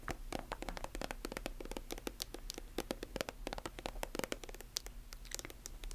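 Long nails scratch and tap along the surface of a silver metallic plastic lotion tube held horizontally and vertically. The result is a quiet, rapid stream of dry, crisp clicks and scrapes with bright, high edges and no ring. A steady low hum sits underneath.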